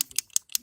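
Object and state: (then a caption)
Touch-up paint bottle with mixing ball rattling inside. A Motip touch-up paint bottle with a small metal mixing ball inside is shaken, giving three sharp, bright rattling clicks as the ball strikes the inside. The bottle is shaken well so the mixed pigments blend into the right shade.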